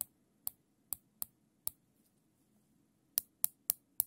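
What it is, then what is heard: Nylon zip tie ratchet clicking. A thin black nylon zip tie, looped into a ring and held in black nitrile-gloved fingers, has its tail pulled through the ratchet head, making sharp, bright clicks. Nine short, crisp clicks come at uneven intervals, five in the first half, a quiet pause, then four more close together, each dying away almost instantly over a faint low hum.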